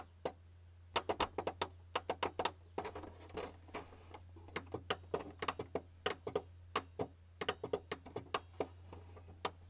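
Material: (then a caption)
Plastic. Fingertips tap lightly in a ticking rhythm on the top of a white plastic printer casing, a hollow housing. Short, dry clicks with a hollow tone come in quick, uneven bursts and die away almost instantly. A steady low hum runs underneath throughout.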